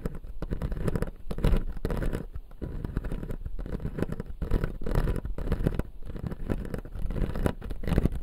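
Fingertips and nails scratch and tap along the upper teeth of a clear acrylic dental model with plastic teeth. The result is a steady run of dense, low, close-miked rubbing and soft scratching broken by brief gaps, with little high-end brightness.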